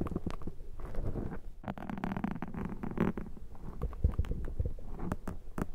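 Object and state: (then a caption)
Foam microphone windscreen being scraped. A thin metal dental pick scrapes across a black foam microphone windscreen, then fingers scratch it. The result is a dense, close, low crackling and rustling with many quick scratchy strokes and a few brighter clicks.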